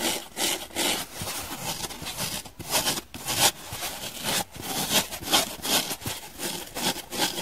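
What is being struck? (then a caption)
Foam sponge. Long nails scratch and rub the porous surface of a dry, hand-sized blue donut-shaped foam sponge with a central hole. The result is bright, dry, rasping scratches in quick, uneven strokes that swell and fade with little low end.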